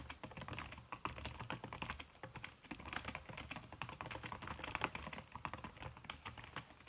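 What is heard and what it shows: Fast typing with fingertips and long red-painted nails on a backlit aluminium laptop keyboard whose plastic keys are covered by a red silicone skin. A dense, steady stream of short, soft, muffled clicks runs throughout, each dying away almost at once, with a bright edge from the nails over a faint low hum.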